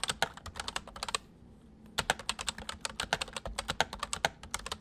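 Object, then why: Plastic mechanical keyboard. Both hands type quickly with their fingertips on a full-size white plastic mechanical keyboard with white keycaps, resting on a wooden desk. Rapid, bright, clacky keystrokes come in dense bursts, pause briefly for under a second, then resume at a steady fast pace. Each click is short and dry, with almost no ring.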